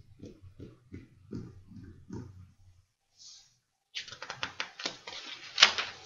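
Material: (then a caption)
Paper. Fingertips tap six soft, muted times on the surface of a stack of printed paper sheets in an open ring binder on a desk. After a short breathy rustle and a pause, the hands grip the page edges, producing dense, bright, crackly paper rustling with sharp snaps that peak near the end.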